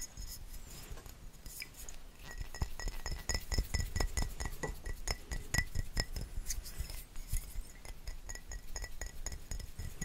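A small, hollow glass bottle with a black cap, possibly a perfume or cologne bottle, is held between the fingers and tapped with fingertips and nails. Rapid, irregular glassy clinks and soft taps come in quick bursts, with thin high ringing tones above a dull low thump that fade almost at once.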